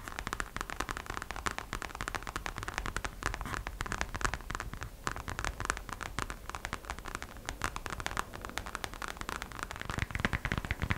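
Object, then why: Glitter vinyl purse. Long acrylic nails tap rapidly across the face of a hollow, glossy gold glitter vinyl gingerbread-shaped purse. The result is a fast, continuous stream of short, crackly clicks with a dull low body and bright ticks, each dying away almost instantly, at a steady moderate level throughout.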